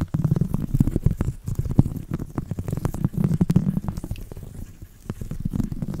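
A round woven seagrass/straw coaster is scratched with a thin copper metal tool and fingertips. The scratching comes as dense, rapid, dry crackling bursts over a low, murmuring hum. It is soft and dull, with almost no high brightness.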